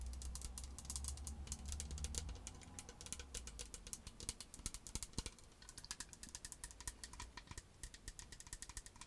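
Long acrylic nails tap and scratch a medium green plastic skincare bottle with a white cap, hollow but filled with liquid. Quick, irregular clicks and scrapes crackle bright and dry, with a low hum underneath during the first half.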